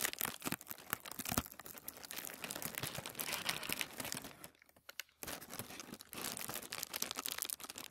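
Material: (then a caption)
Paper. Fingertips rub and scratch the surface of a thin white tissue paper sheet lying flat on a wooden table, producing dense, bright crinkling and scratchy rustles. The crackly texture runs continuously, pauses briefly into near silence around the middle, then resumes.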